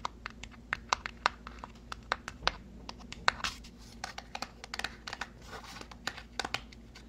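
A small white cardboard box is turned in the hands while fingernails tap and scratch its surface. The result is a quiet series of sharp, dry taps with no ring, mixed with a bright, papery scratching rustle that grows denser in the second half.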